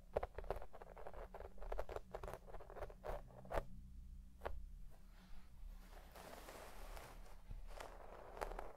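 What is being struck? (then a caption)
Shag carpet with plastic comb. A white plastic pick comb is dug into deep-pile red shag synthetic carpet, soft and fibrous, and raked through it with a scratching motion. It makes a run of quick, dry rasping strokes over a steady low rumble, with a softer, brushier hiss midway before the sharper scratches return.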